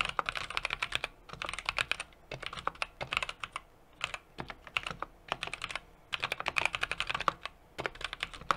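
Fingertips type continuously on a small 60% mechanical keyboard with an aluminum case, brass plate and plastic keycaps. Rapid, short, bright clicky keystrokes come in bursts with brief pauses, each decaying almost instantly with little low end.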